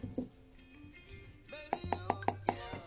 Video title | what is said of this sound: Google Pixel 8 Pro TEST 1 an après toujours intéressant ? | on dirait qu'il y a un espace dessous l'écran de vide il sonne creux